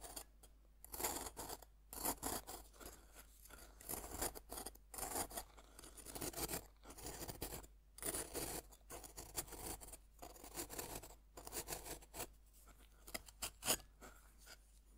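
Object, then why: Pressed-powder bath bomb. Metal fork tines rasp over the flat face of a solid pink pressed-powder bath bomb held upright on a wooden board. The result is bursts of dry, gritty scratching with a bright, hissy edge, separated by short pauses and set over a faint low hum.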